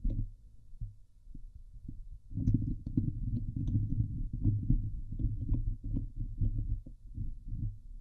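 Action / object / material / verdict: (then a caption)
scrape / steel wire-mesh microphone grille / steel mesh / none. Fingernails scratch the hollow steel wire-mesh grille of a Blue Yeti microphone head from the sides. The result is a deep, muffled rumbling scrape, faint and sparse for the first two seconds and then dense and louder, with occasional bright ticks above it.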